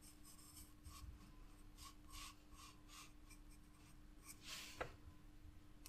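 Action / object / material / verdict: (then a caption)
scrape / graphite pencil on paper sketchbook page / paper / none. A wooden graphite pencil is drawn across a spiral paper sketchbook page in repeated shading strokes, giving a light, bright scratching on paper. The quiet strokes come in soft bursts over a faint steady hum, with one sharper tick of the lead near the end.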